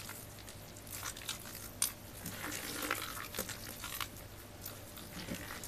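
A large heap of white and blue soaked, crumbled bar soap fills a black bucket, and its solid wet chunks are kneaded, crushed and rubbed between bare soapy hands. The sound is a quiet, continuous wet squishing, broken by brief bright crunches and crackles, with a low steady hum underneath.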